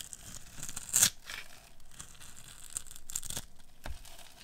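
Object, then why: Bar of soap cut with a metal blade. A metal blade carves small cubes off a hand-sized, pink, solid bar of dry soap scored with a grid of cuts. Bright, crisp scraping and crumbly tearing sounds rise to a sharp crunch near the one-second mark, then another burst of scraping follows later. A dull low knock lands near the end.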